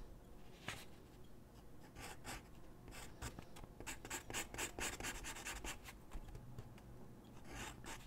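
A graphite pencil scratches and rubs across a large white sheet of drawing paper lying flat on a wooden desk while shading a sketch. Quiet, irregular bursts of dry, bright scratching hiss come in quick strokes over a low background rumble.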